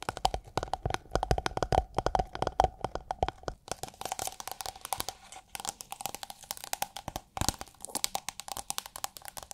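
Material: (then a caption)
Plastic film. Long nails tap and scratch a rolled tube of iridescent holographic plastic film, held upright and tilted. Fast, dry, crinkly taps and crackles follow one another with almost no ring, over a faint steady tone near 760 Hz. The first few seconds carry more low thump before the sound turns thinner and scratchier.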